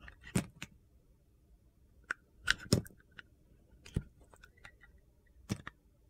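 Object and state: Bar soap being shaved.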